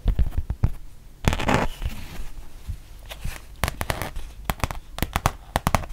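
Long painted nails tap and scratch on a thin, solid rubber-backed fabric mouse pad, first on its textured back and then on its printed front. Quick, dull taps with a low thump come in irregular bursts, broken by a brief rough scratching swish. Each tap is short and dry with almost no ring.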